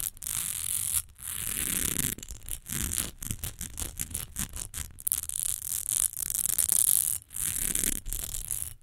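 Long almond-shaped nails quickly scratch and tap the ridged sides and front of a rectangular amber glass perfume bottle, partly filled with liquid and standing on fur. The result is dense, bright, raspy scratching in fast bursts with a low rumbling undertone, separated by brief silent gaps.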